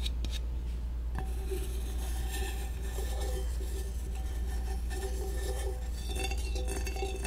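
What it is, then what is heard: Aluminum soda can tapped. A black aluminum soda can, peach flavor, is tapped repeatedly with a chopstick. It gives light metallic clinks with a ringing tone near 380 Hz over a steady low hum.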